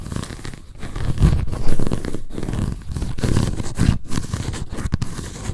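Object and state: Paper notebook with cardboard cover.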